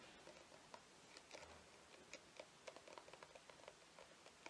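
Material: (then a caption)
Plastic. Fingernails tap on a plastic cosmetic squeeze tube that appears full and is held upright in the hands. The result is a quiet, irregular run of short, crisp ticks with a light, bright click, over a soft hiss.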